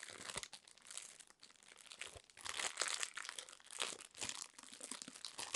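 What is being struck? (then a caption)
Roll of garbage bags in plastic wrap. A plastic-wrapped roll of garbage bags, about 25 cm, is held in both hands while long nails tap and scratch its crinkly plastic wrapper. The sound is quiet and bright, with dense crackling and rustling crinkles and short scratchy bursts that come in uneven waves, and almost no low end.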